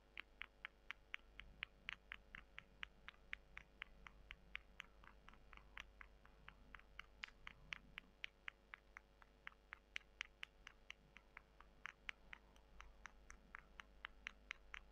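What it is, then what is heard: Dried soy chunks. Long nails scratch and pinch two small, solid, dry brown soy chunks. The result is an uneven run of sharp, dry clicks and ticks, about two per second, each bright and very brief, over a faint steady low hum.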